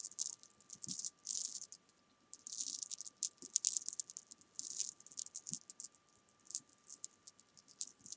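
A row of small solid jelly beans on a fabric sofa is rolled and swept with fingertips and long nails, making a bright, dry rattle. The clicks come in quick, clustered bursts with short pauses between them, all high-pitched with almost no low end.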